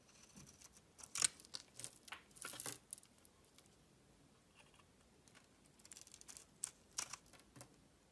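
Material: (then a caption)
Soap. A solid oval pink bar soap, held in the hand, is carved and shaved with a metal utility knife blade, peeling off thin curled strips. Crisp, bright cutting and scraping sounds come in quick short bursts, clustered near the start and again toward the end with a quieter stretch between.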